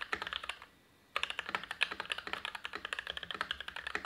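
A tenkeyless Everglide SK87 dual-mode mechanical keyboard with lubed Gateron INK Black v2 switches, a steel plate, a foamed ABS plastic case and black, white and pink PBT dye-sub keycaps sits on a desk mat and is typed on continuously with the fingertips of both hands. Quick, crisp, bright keystroke clacks patter in an irregular stream, with a brief pause about a second in before the typing resumes.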